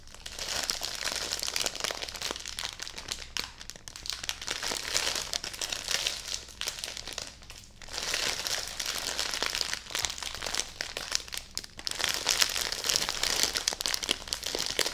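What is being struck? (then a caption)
Bedding package in clear plastic wrap. A full, clear plastic-wrapped bedding package is held and hugged against the chest while fingers and long nails press, rub and crinkle the plastic wrap. The result is a dense, bright crinkling and crackling with many quick, dry snaps. It comes in bursts that swell and fade, with brief quieter dips around 3.5, 7.5 and 11.5 seconds.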